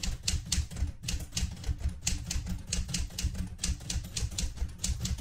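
A light blue Smith-Corona Galaxie Twelve portable manual typewriter with a metal body, loaded with a sheet of paper and resting on a cloth-covered table, is typed on continuously by fingertips with red painted nails pressing its round keys. About twenty-one quick, sharp clacks ring out as the typebars strike, each with a bright snap over a low, dull thump that dies away almost instantly.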